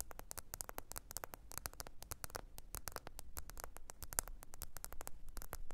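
Long pointed nails tap and scratch the glossy back, possibly glass, of a small, thin, solid black smartphone held upright on its edge with its back facing out. A rapid, uneven stream of sharp, dry clicking taps plays over a low, steady rumble, with soft scratchy rustling between the taps. Each tap stops almost instantly with no ringing.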